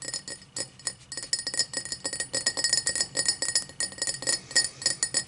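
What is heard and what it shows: Long black nails tap rapidly and unevenly on the side walls of an empty, tall cut-crystal tumbler held end-on with its base forward. Each tap gives a bright, glassy clink that rings only briefly, building into a dense, steady run of chiming clicks.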